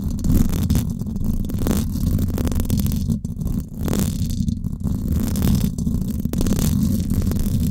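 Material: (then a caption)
Metal mesh. Long acrylic nails scratch the hollow, silver woven-wire dome grille of a Blue Yeti microphone. The result is a dense, continuous, low rumbling scrape, heavy in the bass and muffled at the top, holding a steady level with a brief dip about halfway through.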